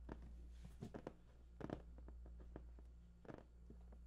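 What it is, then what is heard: Cardboard box. Fingertips tap and scratch the top of a large, hollow, printed cardboard PS4 box. The result is soft, dry, papery taps and brief scratching bursts that die away almost instantly over a steady low hum. The whole clip is quiet.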